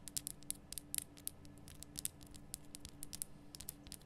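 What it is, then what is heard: Himalayan rock salt lamp. Long nails rapidly tap and scratch on a large, lit pink Himalayan rock salt lamp of solid, rough salt. The result is a quick patter of about 26 sharp, bright clicks and scrapes that die away instantly, over a quiet, steady low hum.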